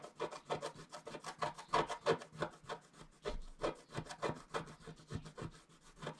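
A wooden stylus scratches a flat coated scratch-art sheet in steady, repeated strokes. About twenty short, dry scraping rasps follow each other at a brisk, fairly even pace, each with a mid-range scratchy body and a faint bright hiss that stops almost at once.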